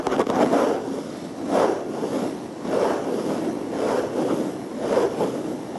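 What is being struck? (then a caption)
Plastic surface. Tapping, scratching and rubbing on a plastic surface, heard as a steady dry scraping texture that swells and eases in slow waves. The sound is concentrated in the low-mid range around 500 Hz, with little deep bass or bright top.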